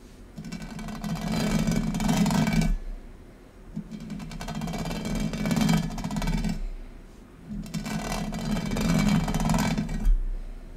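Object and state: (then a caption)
Textured metal tray being scratched. Fingernails scratch across a large, thin, hollow oval gold metal tray with a raised square-grid pattern, lying on a marble surface. Three separate passes of dense, grainy scratching are heard, each with a rough, buzzy low body and bright rasping detail, with short quiet gaps between them.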